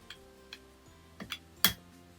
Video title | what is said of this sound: October week 1 2025 | If you can hear like a tapping noise, that's just me hitting my water bottle.